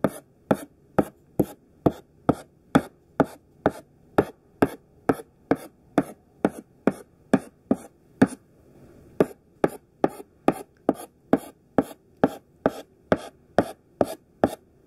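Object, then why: Thick sidewalk chalk on a chalkboard. Chunky pink sidewalk chalk held in the hand taps out rows of short dash strokes on a black chalkboard. About 33 quick, dry, crisp clicks come at a steady pace, each dying away almost instantly, with a brief pause a little past the halfway point before the tapping resumes.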